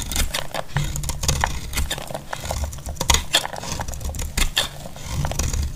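A solid, dry, cream-colored bar of soap held in the hand is shaved into thin flakes with a utility-knife blade. The clip is a steady run of crisp, dry scraping cuts with bright, brittle crackles over a low, soft rumble.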